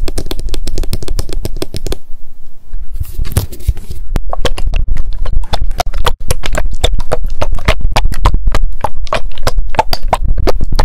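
Long decorated acrylic nails tap rapidly on a small pink m.memo spiral-bound paper notebook with a card cover, held in the hands. Quick, dense clicks with deep, low thumps run throughout. There is a brief pause and a soft rustle around the second to fourth seconds before the fast tapping resumes.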